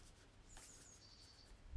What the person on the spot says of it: We take the canister and we shake it. and we can hear no rattling noise. This means that the material is tight packed and everything is good to go.